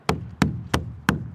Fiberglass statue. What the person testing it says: That's hollow. So, Roman, it's a very convincing dupe, but the statue is actually fiberglass.